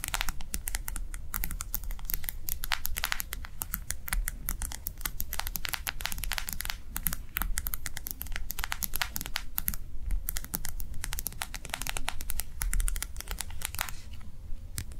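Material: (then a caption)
Plastic. A small, round, clear plastic gel hand warmer pad, filled with liquid gel and printed with a bunny design, lies on a table and is tapped fast by the long nails of both hands. Dense, rapid, bright clicking taps with a crinkly plastic edge run continuously over a steady low background rumble, easing slightly near the end.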